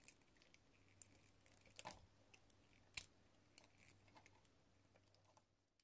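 A metal utility blade slices thin strips off a solid, hand-sized translucent yellow bar of soap embossed with "00 GRS", held in fingers with pink nails. The cutting makes quiet, bright, crisp scraping crackles and irregular sharp clicks over a faint low hum.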